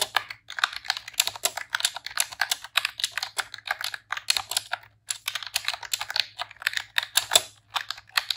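Rapid typing on a pink retro-style plastic computer keyboard with round keycaps, pressed with long press-on nails and fingertips. Dense, bright clicky key presses come in quick bursts with very short, dry decay and brief pauses between runs.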